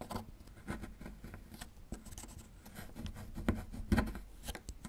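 A small metal chisel scrapes and chips at a small, solid plaster fossil excavation block. Quiet, irregular scratching and gritty rubbing carry on throughout, broken by a few sharper clicks of chipping toward the end.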